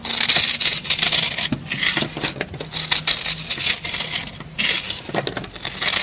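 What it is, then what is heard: Dry soap bar being scraped. A metal knife blade with a green handle scrapes and crumbles the surface of a dry, porous, pink rectangular pressed soap bar held in the hand. The result is a bright, crisp, crackling scrape made almost entirely of high hiss, with rapid gritty bursts that swell and fade as the blade passes over the soap.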